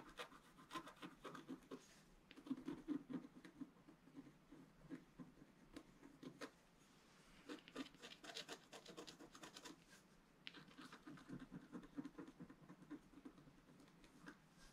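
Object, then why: Black-coated scratch-art paper board scratched with a wooden stylus. A wooden stylus scratches small strokes along the right side of a flat, black-coated scratch-art sheet, about A4 in size, lying solid on a table. Quiet bursts of dry, rasping scratches with a low-mid body and bright edges come in clusters, separated by brief pauses near the middle and later in the clip.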